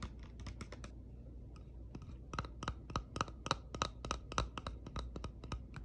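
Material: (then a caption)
Plastic. Long pink-painted nails tap and scratch the smooth, glossy lid of a small round pink plastic compact hair brush (man-maru) with a hollow case, held in the hand, and the case is opened. Quick, irregular, dry clicks with a slight hollow ring around 1.3 kHz sit over soft scratching and a low steady hum.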